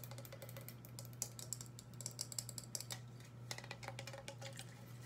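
A tall black and white aluminum aerosol hairspray can, hollow metal and held horizontally, is tapped with long acrylic nails in a rapid, uneven run of light taps. The taps come out as sharp, bright clicks with a high metallic tick and almost no ring. A steady low hum sits underneath throughout.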